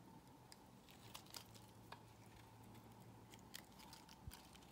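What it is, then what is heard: Bar soap being cut. A solid square cream bar of soap held in the hand is carved with a box cutter blade. The blade makes quiet, crisp crunching and scraping sounds, with about a dozen sharp bright clicks over a steady low hum.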